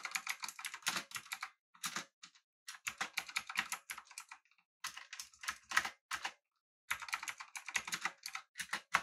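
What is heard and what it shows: Two hands type with their fingertips on a full-size, backlit, typewriter-style mechanical keyboard with an aluminum body and round plastic keycaps. Bursts of rapid, crisp, bright clacks come in quick runs, broken by short pauses.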